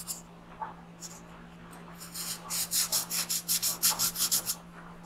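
A graphite pencil held in the fingers shades an alien's head on a printed paper coloring page lying flat on a wooden desk, while the other hand holds the sheet. A few faint scratches give way to a quick, fairly regular run of short, bright, papery rubbing strokes, over a steady low hum.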